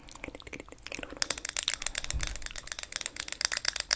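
A small, round, hollow clear plastic e.l.f. makeup compact is held in both hands while long grey nails tap and scratch across its lid. The result is a fast, irregular stream of crisp, bright clicks and scratchy crinkling, with energy concentrated well above 2 kHz.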